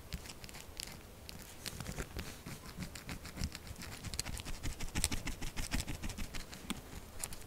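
Long nails rapidly tap and scratch the top of a solid pink textured soap bar lying flat. The result is a fast, uneven patter of dull, low taps mixed with bright, crinkly scratching bursts, growing slightly louder toward the middle.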